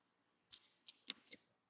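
A thin metal carving knife slices and scrapes thin curls off the side of a solid, palm-sized pink bar of soap that is partly carved into a small bag shape and held in one hand. Five short, crisp, bright scraping cuts are heard, each dying away almost at once, with nearly no low end and a quiet background between them.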